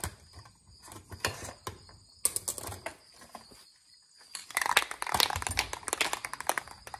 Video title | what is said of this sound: The Easy Way I Shake Spray Paint Cans - Video 84 | can you hear the ball rattle and shake it and it's all ready to go